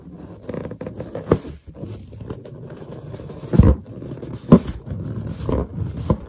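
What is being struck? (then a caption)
Inflated latex balloon. Long painted nails and finger pads tap on the surface of a large, hollow, inflated white latex balloon. Soft, irregular patters and light scrapes run throughout, broken by a few louder, dull low thumps. The taps are short and die away almost at once.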